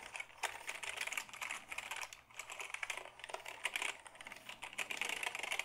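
A black Dell keyboard made of hollow plastic is held tilted while fingertips type on its keys. A quick, uneven run of dry, bright clicks and clacks comes through, each tap dying away almost instantly. A hollow, rattly plastic tone centers around 2 kHz with very little low end.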